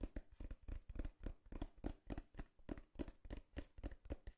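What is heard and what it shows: Long fingernails quickly tap the side panel of a small, empty, hollow brown corrugated cardboard box in an uneven patter. About twenty short, dull, hollow taps sound, mostly low with a faint knock near 300 Hz, and each dies away almost instantly. The taps stay quiet throughout.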